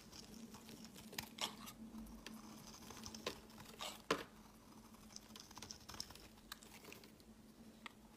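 A utility-knife blade scrapes and shaves crumbly flakes off a solid white oval soap bar, palm-sized and held in the hand. The quiet, dry, crinkly scraping comes in irregular light ticks and soft rasps, with one sharper scrape near the middle, over a faint steady low hum.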